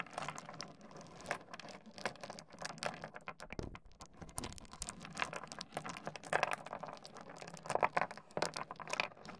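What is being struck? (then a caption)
Small stone pebbles on a wooden desk. Fingertips slide and push a spread of small solid stone pebbles across a wooden desk. The stones knock together in a steady stream of quick, quiet, bright clicks and scrapes with short rustling pauses. Each click dies away almost instantly.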